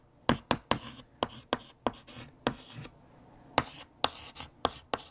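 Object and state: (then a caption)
Chalk writing on a chalkboard. A hand writes on a large, flat, solid black chalkboard with a light blue chalk stick. Eleven short, sharp tapping strokes are heard, some trailing into brief bright scratches, with quiet pauses between groups of strokes.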